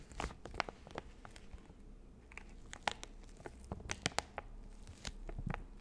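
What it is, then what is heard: Plastic wet wipes packet. A full, hand-sized soft plastic packet of Nectar of Bio facial wet wipes is held in both hands while long acrylic nails tap, scratch and crinkle its plastic film. Quick, bright crackling clicks and crinkles sound in irregular bursts over a low, steady rumble.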